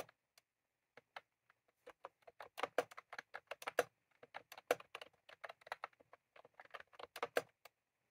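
Fingertips of both hands type on a white/cream plastic computer keyboard with round typewriter-style keycaps, resting on a desk. Short, dry clacking keystrokes start sparse and then pick up into a quicker, uneven run, each click dying away almost at once. The clicks have a midrange tone near 500 Hz, with a little bright edge and no low thump.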